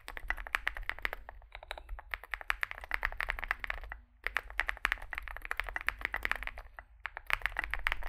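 Two hands type with their fingertips on a Zoom65 65% mechanical keyboard with a solid metal case and grey and white SA-profile plastic keycaps, resting on a desk mat. Rapid, bright, clacky keystrokes with a firm midrange thock around 1.8 kHz die away almost instantly, over a faint low hum. Brief pauses fall near 1.5 and 4 seconds.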